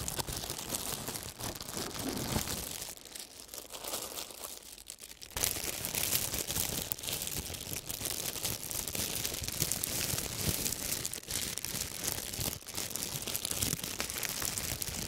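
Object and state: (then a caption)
Crumpled plastic film. A thin, wrinkled sheet of clear plastic wrap, first lying flat, is lifted and crumpled between both hands with the fingertips. It gives dense, bright crinkling and crackling that eases briefly in the middle, then returns louder and steady to the end.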